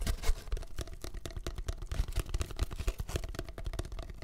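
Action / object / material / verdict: tap / cardboard tube / cardboard / none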